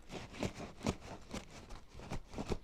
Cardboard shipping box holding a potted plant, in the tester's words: That's a lot of shaking.